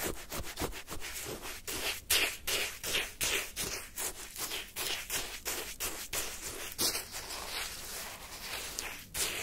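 A wooden stick coated in ice crystals repeatedly scrapes and digs into pale yellow shaved-ice sherbet in a paper cup. Each stroke makes a bright, crisp, crunchy rasp, repeating at a quick, slightly uneven pace. Each rasp fades fast, with little low end.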